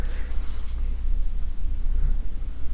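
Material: Nothing is struck.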